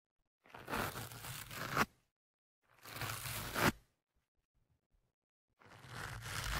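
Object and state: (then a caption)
Foam microphone windscreen being scratched. A thin metal pick held in one hand scratches and pokes the soft, porous black foam windscreen on the left microphone. Three separate bursts of close, broadband scratchy rustling and crackling are heard, each swelling and ending in a sharper crackle. Short silences fall between them.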